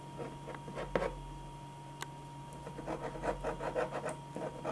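A black pen draws long, scratchy strokes across a single thin sheet of white drawing paper lying flat on a dark board. Soft, dry scratching comes in short bursts and grows busier toward the end, over a steady low hum.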